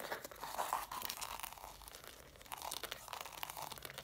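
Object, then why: Stack of cloth hardcover books. Long matte dark nails scratch and tap along the paper page edges and cover rims of a stack of about six red cloth-bound hardcover books. The result is a quiet, dense run of dry, crunchy scratches and quick taps, with a bright papery rasp over a midrange texture and little low end.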